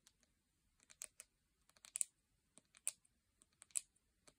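Long painted nails tap on the lid and sides of a full, round plastic jar of salt scrub, making about 13 quiet, crisp clicks at an uneven pace. Each tap is a short, bright tick with almost no low end and no ring, and a few taps land louder than the rest.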